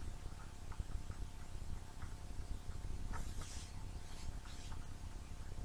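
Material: Nothing is struck.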